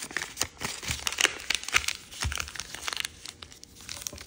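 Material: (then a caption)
Paper. A white and red patterned chiyogami origami paper sheet, folded into a crane base, is creased and rubbed along its folds by fingertips and nails. The result is irregular, crisp crinkling and rustling with short, bright crackles, mostly high in tone with little low end.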